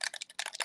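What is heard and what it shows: An oxide spray bottle, with pigment settled on the bottom and a mixing ball inside, is shaken side to side like a bell. Quick, bright clicking rattles are heard as the ball moves freely inside the bottle. This shows the pigment has been loosened and mixed.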